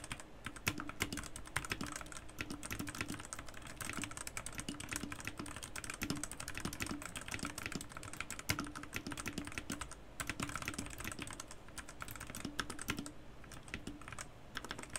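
Fingertips type continuously with both hands on a white Garuda Gear GG68B wireless 65% mechanical keyboard with plastic keycaps and RGB lighting, set next to a laptop. A dense, steady stream of short, bright plastic clacks runs for the whole clip, with brief lulls around the 10- and 13-second marks.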